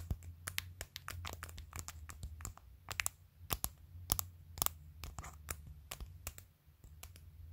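Long, pointed pastel acrylic press-on nails tap and click on a clear plastic phone case that has acrylic nails glued onto it, close to the camera. Sharp, bright clicks come in quick, irregular bursts with brief scratching between them, over a steady low hum.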